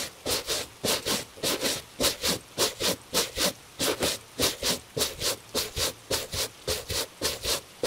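A gloved hand holds a hollow tan leather cap-toe dress shoe, Italian-made, while a bristle brush scrubs its upper. The strokes come in a steady back-and-forth rhythm of bright, hissing scratches. A faint midrange rub sounds under each stroke.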